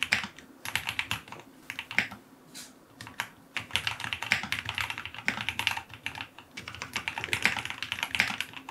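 Fingertips type on a white full-aluminum QK75 mechanical keyboard with white plastic keycaps, a brass knob, an FR4 plate, foam filling and lubed Cherry MX Black linear switches. Rapid, dense keystrokes produce a bright, short clacking that runs in bursts with brief pauses, and each keypress has a crisp top end and little low thump.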